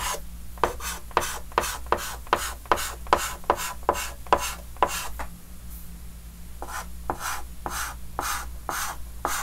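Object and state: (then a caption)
Chalk scratching on a chalkboard. A white chalk stick held in the fingers scratches fast hatching strokes across a large, flat, dark green wooden-framed chalkboard. Quick, evenly spaced, gritty scrapes with a bright edge repeat for about five seconds, pause briefly, then continue more softly. A steady low hum sits underneath throughout.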